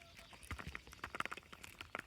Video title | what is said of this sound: How To Know When Peas Are Ready, Transplanting Bee Balm And Drying Flowers | they kind of feel like they're hard, but if you tap them, you hear that rattling